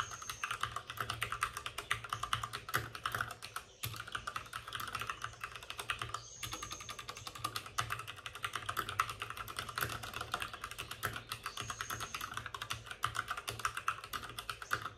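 Both hands rapidly type with their fingertips on the plastic keycaps of a white, backlit RGB mechanical computer keyboard that sits on a desk with a padded wrist rest. The result is a dense, steady stream of short, bright clacks centered around 1.3 kHz, with brief pauses near 4 and 6 seconds. Each keystroke is crisp and dies away almost instantly.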